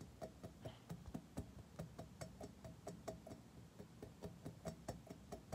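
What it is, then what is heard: Metal surface tapped with fingernails. Fingernails tap on a metal surface in about 20 quick, sharp, tick-like taps at an uneven pace. Each tap has a short, dry ring with a low thump under the click, and the sound stays quiet throughout.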